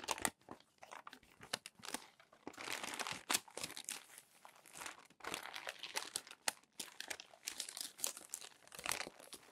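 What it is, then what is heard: Crumpled glossy magazine pages. Fingers lift and turn the wrinkled pages of a crumpled stack of glossy paper magazines, producing dense, bright crinkling and crackling with sharp rustling bursts. The sound has almost no low end, with quick crisp snaps between louder sweeps of paper noise.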